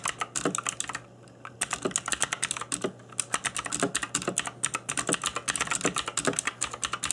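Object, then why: Plastic mechanical keyboard. Fingertips in black nitrile gloves type on a cheap RGB-backlit mechanical keyboard with plastic keycaps. Rapid, bright clicky key taps come in quick bursts, with short pauses near the one-second and three-second marks. Each tap is dry and stops almost instantly.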